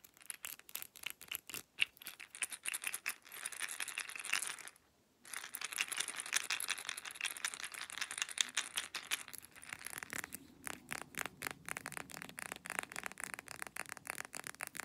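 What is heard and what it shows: A brown glass supplement bottle partly full of capsules is held in the hand and shaken, so the pills rattle inside while fingernails tap on the glass. Dense, bright clicks and rattles run almost continuously, broken by a short silence near the five-second mark. Fast tapping and shaking then resume to the end.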